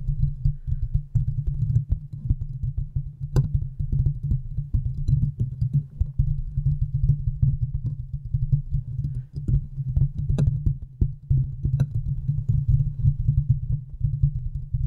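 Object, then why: Metal wire-mesh microphone grille. Long manicured nails of both hands rapidly tap and scratch the hollow, domed metal wire-mesh grille of a large silver USB condenser microphone. The result is a dense, continuous stream of deep, boomy thumps and rustling scrapes centered low, with occasional sharper clicks that flash up into a bright crackle.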